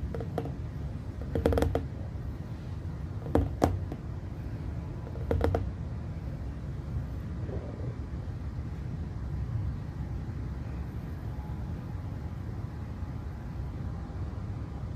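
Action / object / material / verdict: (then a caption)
tap / glass plasma ball globe / glass / none. Fingertips tap and rest on the top and sides of a small hollow glass plasma ball globe. Short, light tapping clusters in the first six seconds sit over a steady low hum, which continues alone for the rest of the clip.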